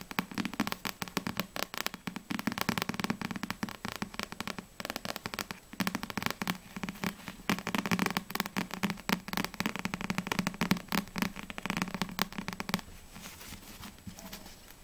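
Long acrylic nails tap rapidly on a small, solid Black Butler paperback manga with a glossy paper cover. The result is a dense run of short, crisp clicks with a low hum around 190 Hz underneath, softening over the last couple of seconds.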